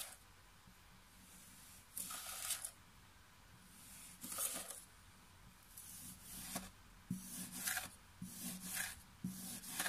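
A pink plastic knife, held in one hand while the other hand steadies the mound, repeatedly slices and scrapes through a flat mound of pink kinetic sand on a table. Soft, gritty, bright rasping swishes come in irregular bursts over a quiet, low background hum.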